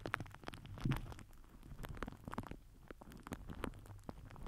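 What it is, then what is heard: Plastic film crinkled over a microphone. A microphone head wrapped in crinkled purple plastic film is rubbed and pressed with the end of a plastic glue stick. It gives a dense run of sharp, dry crackles and clicks over a muffled, rumbling low-heavy texture, with steady rustling throughout.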